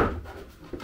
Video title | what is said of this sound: Colis Elsass Body RC !.. | ça sonne quand même costaud